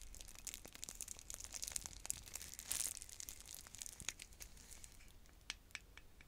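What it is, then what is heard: Plastic shrink wrap being peeled. Long nails crinkle and peel the plastic shrink wrap on a clear plastic stacking bead container, and the film starts coming off. Soft, bright crackling and quick ticking snaps run throughout, with a louder tearing burst about midway before the crinkles thin out.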